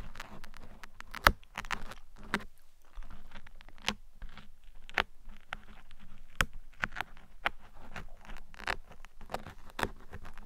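Metal tweezers scratch and pick along the sides of a black foam microphone windscreen, producing soft, dense scraping and crackling with sharp clicks scattered throughout. The texture is close and dry, with a steady low rumble underneath and brief bright snaps that die away almost instantly.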